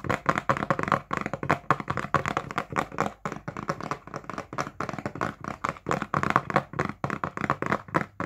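Fingertips tap on the faces of a medium printed cardboard box for a kitchen appliance, hollow or packed, held upright in both hands. A steady run of dry, short taps with a mid-pitched ring around 1 kHz dies away almost instantly, the rhythm shifting between slower and faster bursts.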